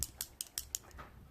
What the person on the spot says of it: You gotta shake it up. Kind of like a paint can. Got this little ball in there.